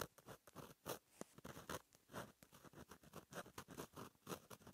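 A fine metal gel pen tip, held by fingers, scratches across a flat black lined page of a black paper notebook while writing. The sound is a quiet, dry series of short scratchy strokes, mostly midrange with bright, hissy edges, each stopping almost instantly. Around 17 separate strokes can be picked out, with brief silences between them.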